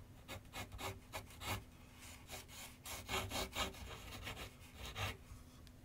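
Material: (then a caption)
Paper. A pencil makes dense, scratchy shading strokes on a large white paper sheet mounted on a board with solid backing, set on a wooden easel. A run of dry, bright, rasping strokes rises and falls in quick bursts over a faint low hum.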